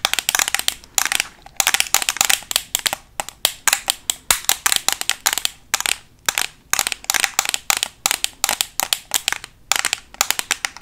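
A flat, closed black Makeup Revolution plastic eyeshadow palette is held close to the microphone and fast-tapped with metal paperclips worn on long nails. About fifty sharp, bright clicks come in rapid bursts with short pauses between them, each dying away almost instantly. The taps have no low end.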